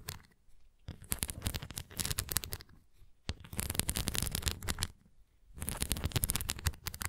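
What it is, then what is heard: Plastic flying disc scratched and tapped. Long painted nails scratch and tap the top face and rim of a large, thin, translucent red plastic flying disc toy with raised nubs and a center dome, hollow and light, held in both hands. Bursts of rapid, dry, crisp scratching and clicking ticks with a hollow low thrum come in three stretches separated by short quiet pauses.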